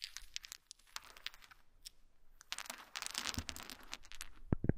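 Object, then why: Small wooden dowel sticks. Many small wooden dowel sticks resting on a blanket are gathered, rubbed together and dropped by hands. The result is a run of quiet, dry clicks and crisp rustling, ending in a few louder knocks.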